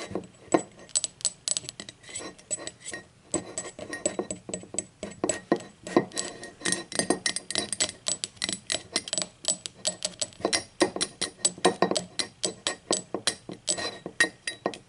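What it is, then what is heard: Ceramic mug. Long acrylic nails tap and scratch the unglazed base rim and printed bottom of a blue speckled ceramic mug lying hollow on its side. Dozens of quick, bright clicks and light scraping come in uneven bursts, each tap dying away almost instantly with a faint hollow tone.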